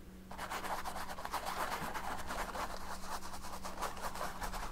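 A paint brush is rubbed and scrubbed over the lower dark area of a large stretched canvas painted with oil paint. After a brief quiet start, a continuous scratchy rubbing runs throughout, with repeated brush strokes swishing in the midrange over a steady low hum.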